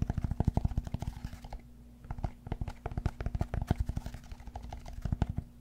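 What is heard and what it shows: Fingernails scratch the textured face of a large, solid cork yoga block, first held flat and then tilted. The sound is a dense run of quick, dull, low scratching taps that pauses briefly near the middle and then picks back up, with a faint steady low hum underneath.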